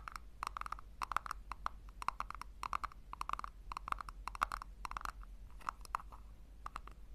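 Long nails rapidly tap and scratch the sides and base of a small, hollow pink plastic tub held in both hands. The result is a fast run of short, dry clicks with a hollow tone around 1.3 kHz and bright scratchy edges. Each tap dies away almost instantly over a faint steady low hum.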